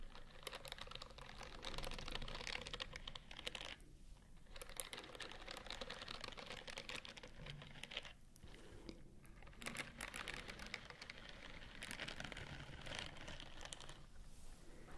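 Long acrylic nails scratch and tap repeatedly across the bristles of a white silicone scrubbing glove held in front of the mic. The result is a dense, crisp stream of fast ticking and scratchy rustling with bright, high detail, broken by a few brief pauses.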